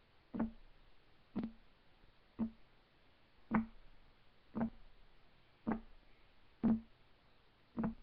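Fingertips of both hands tap on a flat, solid, light wood desk top, giving eight short, dull knocks spaced about a second apart. Each knock has a low woody thump near 220 Hz with a brief bright edge, dying away almost at once against a faint hiss.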